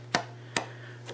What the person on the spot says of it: I don't know that sounds like plastic to me but maybe it just sounds like a card to you